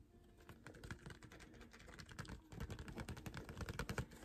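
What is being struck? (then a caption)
Tape dispenser in cardboard and plastic blister packaging. Fingertips and short nails tap quickly and aggressively on a small retail package of a Scotch tape dispenser, a hollow printed cardboard backing with a clear plastic blister held in one hand. The result is a rapid-fire, uneven patter of short, hollow, low thuds with light clicky edges. The taps grow louder and denser in the second half.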